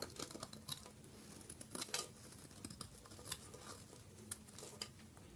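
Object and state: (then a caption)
Dry bar soap being scraped. A hand-held rectangular bar of dry terracotta-coloured soap has its face scraped and shaved with a metal blade, with the shavings falling onto a dark surface. Quiet, dry, bright scraping and crisp shaving strokes come in a steady run of short scratchy bursts, with a few sharper crackling peaks over a faint low hum.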